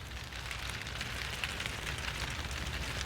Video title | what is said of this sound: How to Grow Butter Peas: A Comprehensive Guide (PROGRESSION) | when I shake the bush sounds like a little rattlesnake or a little baby rattle